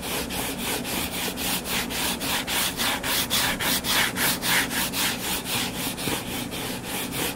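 Fingertips and nails scratch the cover of a closed, solid hardcover book lying flat on a table. Steady back-and-forth strokes, about two per second, produce a bright, hissy rasp that swells and fades with each pass, with a faint low hum underneath.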